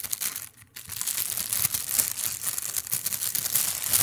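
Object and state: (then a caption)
Thin plastic bag crinkling. A large, thin, translucent clear plastic bag, empty, is bunched up and squeezed with fingertips right beside the microphone. It makes dense, bright, crackling crinkles with little low end and a brief quiet pause just after the first half-second. The rustling then runs on steadily to the end.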